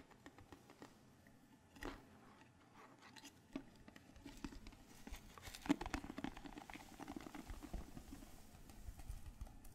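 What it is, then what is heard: Metal tea tin. A small, hollow rectangular green tea tin with a gold-yellow metal lid is held in both hands close to the mic and tapped and scratched with fingertips and nails. The result is a quiet run of soft, dull taps with a short, low-mid ring, mixed with fine scratchy rustling. It grows busier and denser in the second half.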